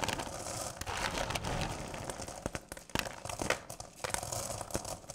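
Hands with long purple nails dig into and rake through a full bowl of small, solid candy corn pieces. The result is a steady, dense rattling and crinkling with bright, sharp clicks as the pieces shift and knock together.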